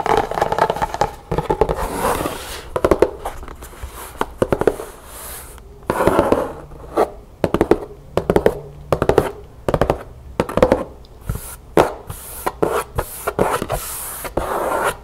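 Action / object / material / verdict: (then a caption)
tap / cardboard gift box / cardboard / none. Long painted nails scratch and tap the inside of the upright, opened lid of a large, hollow, empty-looking black cardboard gift box printed with a world map. Quick bursts of dull, hollow taps with a mid-pitched papery tone alternate with stretches of rough, rustling scratching, and each tap stops almost at once.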